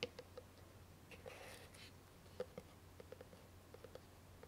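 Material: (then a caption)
Cardboard. Long painted nails tap and scratch a small, hollow white lidded cardboard gift box with a satin ribbon bow, held up to the camera. Quiet, short, dry taps with a hollow mid-pitched tone are scattered across the clip. A soft, bright scratching rustle comes in the middle, all over a low, steady background hum.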